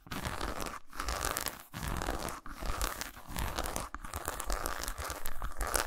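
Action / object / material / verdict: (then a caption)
scrape / milk chocolate bar scratched with fingernails / chocolate / none. Long pointed nails scratch and tap a solid milk chocolate bar lying lengthwise on a towel. The result is a dense, crackly, tearing scrape with soft, low knocks, broken by brief pauses before each burst resumes.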